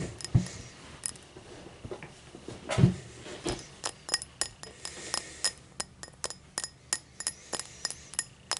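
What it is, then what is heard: Cut crystal highball glass. Long matte black nails tap the hollow body of a tall, empty cut-crystal highball glass lying on a towel. About 23 short, bright glassy clinks and ticks come at an uneven pace, each dying away almost at once.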